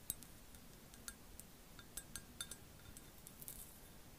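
An empty black glazed ceramic mug shaped with a cat face and ears is held in both hands and tapped with long acrylic nails. It gives a quiet, irregular series of sharp, bright clicks with brief high glassy pings that die away almost at once over a soft low hiss.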